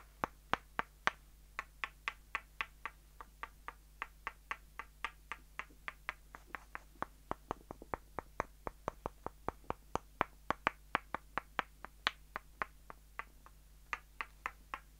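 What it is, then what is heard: Wooden pegs knocked together. Two short, solid, light-colored rounded wooden dowel pegs, one held in each hand by the fingertips, are knocked and clicked against each other in a quiet, irregular series of about 54 wood-on-wood taps. Each tap is a dry, crisp click centered around 1.2 kHz with bright edges and almost no ring, over a faint steady low hum.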